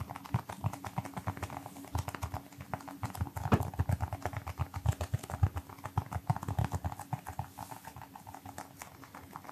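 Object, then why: Small rubber toy football. A small, palm-sized brown pebbled rubber toy football with white laces, likely hollow, is held close to the mic and tapped quickly with fingertips and short nails. The result is a fast, uneven run of soft, dull thumps and light clicks, mostly low and muffled, each dying away almost instantly over a faint steady hum.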